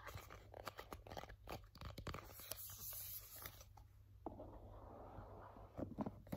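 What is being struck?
Small rigid cardboard box.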